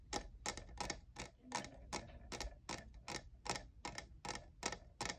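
Fingernails rapidly tap the sides of a hollow, lavender, diamond-textured plastic cold cup. The result is a quick, uneven run of sharp, bright clicks with very short decay, heard quietly against a faint low rumble.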